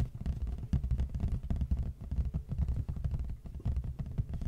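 A large, flat, hollow red printed cardboard box is held upright facing a microphone while the fingertips and short nails of both hands tap and scratch its front face. The result is a rapid, dense run of deep, hollow thumps centered low around 70 Hz, each dying away almost instantly, with faint scratchy texture between the taps.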